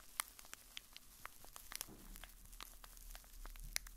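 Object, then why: Small cardboard box. A small, hollow, blue printed cardboard box is held in the hand and scratched with a fingertip and nail. The result is quiet, dry, crinkly scratching broken by sharp, bright clicks that die away almost instantly, over a faint low rumble.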